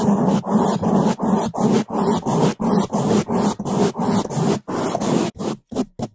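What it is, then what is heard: Foam microphone windscreen brushed. Two bamboo toothbrushes held in gloved hands scrub fast over the top of a black foam microphone windscreen. The result is a steady run of rapid, separate strokes, about three per second, each a close, muffled, rough brushing rush. The last few strokes are shorter and spaced farther apart.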